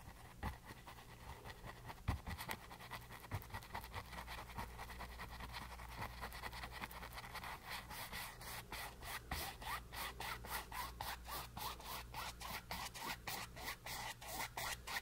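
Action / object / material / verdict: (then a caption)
scrape / bristle paintbrush on a stretched canvas panel / canvas / none. A flat bristle paintbrush rubs and dabs wet teal paint across a small flat rectangular canvas panel, canvas stretched over a board, lying on a white base. Dry, scratchy brushing is heard in short strokes, growing into a steady, rhythmic series of bright swishes over a faint low hum.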